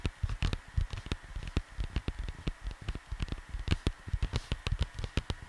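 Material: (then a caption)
Cardboard. Fingertips patter and tap rapidly over the surface of a large, flat, printed cardboard LP record sleeve lying on a desk beside the microphone. About 25 quick, soft taps are heard, each a dull low thump with a brief papery click that dies away almost instantly.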